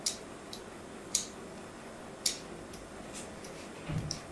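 A thin metal blade scores diagonal cuts into a solid white bar of soap held in the hand. Five short, bright, crisp scraping clicks are spaced irregularly over quiet background hiss. The last cut carries a slightly heavier, duller touch underneath.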